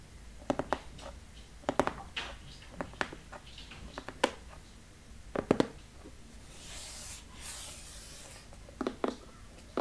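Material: Cardboard.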